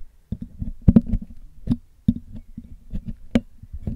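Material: Metal mesh.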